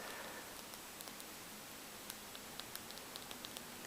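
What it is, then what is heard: Tiger's eye stone egg. Fingers tap a goose-egg-sized stone egg with tiger's eye in it. Soft, quiet, dry clicks come in a loose, irregular series over a faint hiss. Each tap is bright and dies away almost instantly.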